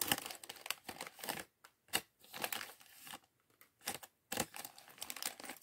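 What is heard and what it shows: Fingertips crinkle a small, mostly empty clear polyethylene bag from the LEGO Chevrolet Corvette C8.R Race Car set 76903, held in both hands, and rummage through the few plastic LEGO bricks inside. The result is bright, dry crinkling and clicking in uneven bursts separated by short silent gaps, with almost no low end.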